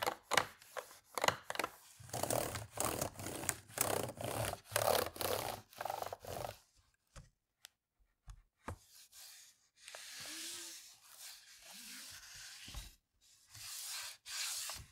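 A hand rubs and wipes the palm rest of a black plastic laptop with a hollow body, using a white cloth or wipe. Quick, uneven scrubbing strokes come first, with dull knocks from the hollow shell. These give way to softer, longer bright swishes separated by short pauses.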